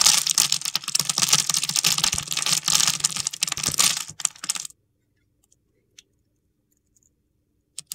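A utility knife scrapes and carves small scored cubes off a solid, palm-sized red bar of soap held in the hand. Dense, bright, crunchy scraping and crackling runs for about four and a half seconds, then stops into near silence broken by a few faint clicks and a short scrape at the very end.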